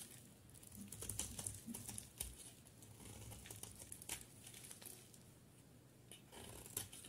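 A utility knife blade shaves and cuts a solid green bar of soap into chunks. Quiet, irregular crumbly scraping and crisp crunching come in short bursts with bright, high edges over a faint low rumble.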